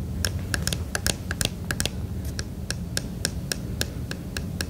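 A fingertip and fingernail tap the clear plastic flashlight lens on the red plastic end of a plastic emergency radio, producing 18 short, bright clicks. Each tap dies away almost instantly over a steady low background rumble.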